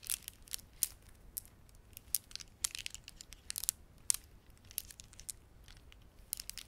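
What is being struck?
Plastic beaded ornament.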